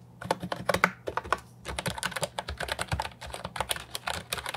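Fingertips type on a compact Ajazz 308I keyboard with round, typewriter-style plastic keycaps resting on a wooden desk. There's a quick run of short, bright clacks with very little ring, a brief pause just past one second, then steady typing over a faint low hum.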